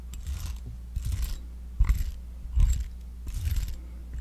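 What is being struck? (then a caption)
Silicone facial cleansing brush. A small, palm-sized, round pink silicone facial cleansing brush with a soft bristled surface is held in one hand while a metal back-scratcher claw is scratched across its bristles. About six separate bursts of dry, bright, rustling scratching are heard, with short quiet gaps between strokes over a steady low hum.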